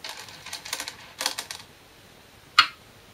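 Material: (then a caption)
Wood, glass. Size 36 Korean glass go stones, 10.2 mm thick, are placed on a 2-inch shinkaya wood floor go board during a game replay. A quick run of light, bright clicks and taps fills the first second and a half, then after a pause comes one sharper, louder clack with a short, crisp ring.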